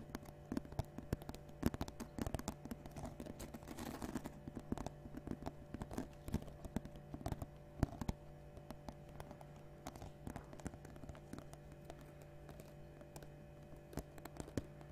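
A round, hollow woven basket or lid made of natural rope or straw is held close to the mic and tapped and scratched with long dark-painted nails and fingertips. Quick, dry, muffled taps and brief scratchy rustles come in an irregular stream over a faint steady low hum, mostly low in tone with little brightness.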